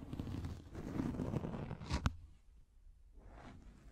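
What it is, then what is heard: Microfiber pad scratched with nails. Long nails scratch a pink, fluffy microfiber makeup remover pad, making a soft, low, rustling scrape. A brief sharper scratch stands out at about two seconds, then the scratching falls quieter before picking up faintly again.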